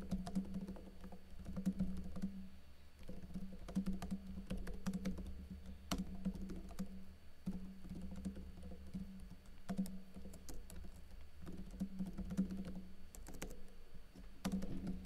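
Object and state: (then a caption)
Plastic laptop keyboard being typed on. Fingertips with blue nails type on a plastic backlit laptop keyboard with plastic keycaps, tapping the keys in steady bursts with brief pauses. The clicks are short, sharp and bright over a low, steady hum near 190 Hz.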